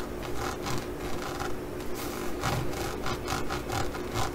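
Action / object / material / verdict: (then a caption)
scrape / studded faux leather pouch / faux leather / none. A green faux leather pouch embossed with pyramid studs is rubbed and scratched by fingertips and nails. The result is a steady, rhythmic rasping over a low rumble, with broadband scratchy bursts repeating about two to three times per second.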